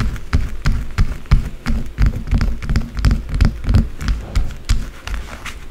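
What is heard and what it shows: A small solid white bar of soap with a scraped surface, sitting among its own shavings, is scratched fast and hard with long blue acrylic nails. The result is quick, uneven, crackly scrapes, about three per second, each with a dull low thud and a short bright rasp.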